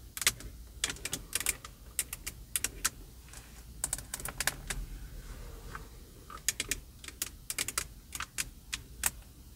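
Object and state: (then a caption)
Plastic steering wheel hub tapped with nails. Long purple acrylic nails tap on the plastic airbag cover of a car steering wheel's center hub, a hollow plastic/leather-covered cover, and on the spoke control buttons. Quick, bright clicks come in irregular bursts, with a quieter stretch in the middle before the rapid tapping resumes.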